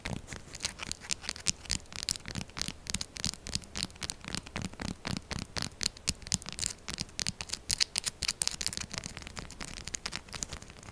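Long acrylic nails rapidly scratch and tap a solid, textured purple soap bar. The result is a dense stream of short, dry, bright scratches and clicks with no ring, carrying only a little low thump.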